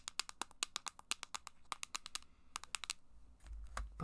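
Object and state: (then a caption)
Plastic handheld game console. Long black acrylic nails tap quickly on a small, hollow, copper-pink plastic handheld game device, possibly a Game Boy Advance SP, held in the hands. About twenty sharp, bright clicks sound in a steady run, each dying away almost instantly. After about three seconds they give way to a low rumbling handling noise with a few faint taps.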